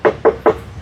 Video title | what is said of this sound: CARA CEK UNIT MOBIL SECOND TIPS DAN TRICK UNTUK PEMULA | Nah itu masih besi ya semuanya tapi memang bahan yang sebelah sini agak sedikit lebih tebal